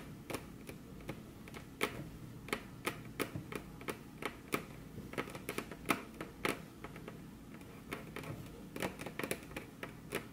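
Very long curved fingernails, on crossed hands, tap their tips against a flat, solid, glossy dark-brown wood-grain table top. The result is a quick, irregular patter of short, crisp clicks with bright edges and a soft woody body. Each tap dies almost instantly over a faint, steady background.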